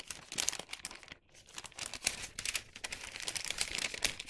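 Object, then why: Thin wax paper bag. A hollow bag of thin printed wax paper is squeezed, folded and rubbed with fingers, giving dense, bright crinkling. The crackle runs almost continuously in quick, dry bursts, with a brief quiet gap just past one second before it builds again.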